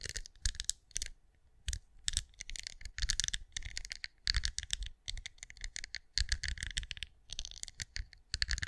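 Long acrylic nails scratch and tap on a hand-sized, cream, pinecone-shaped wax candle that appears solid, recorded close up. Quick, dry, clicky taps and scrapes come in dense bursts separated by brief pauses, bright on top with soft low thumps underneath, and each click dies away almost instantly.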